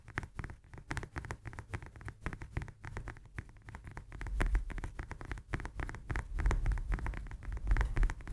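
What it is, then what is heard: Lemon. Long nails tap quickly on the peel of a whole, solid fresh lemon held in the hands. The result is a rapid, irregular run of soft, dull, low thumps with short decay, growing somewhat louder in the second half.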